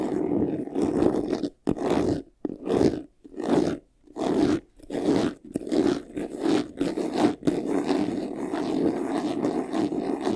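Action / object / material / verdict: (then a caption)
scrape / faux leather jewelry box / faux leather / none. Fingernails scratch quickly across the top and side panel of a closed, hollow, medium white jewelry box made of textured faux leather. Rough, raspy strokes come in short bursts with brief gaps at first, then run together into nearly continuous scratching with a low-mid, hollow body.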